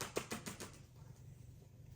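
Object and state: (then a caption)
Book being flapped. A book is moved back and forth, making soft, papery flapping taps. A quick run of taps opens the clip, followed by a quiet stretch and one last tap at the end.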